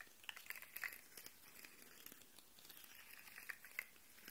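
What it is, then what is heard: Plastic articulated fidget toy. A hollow, rainbow-colored, segmented plastic slug fidget toy is held up close while fingernails tap and scratch along its ridged segments and the segments are flexed so they click. The result is a quiet, bright string of sharp, dry clicks and scratchy rasps with almost no ring, over a soft hiss.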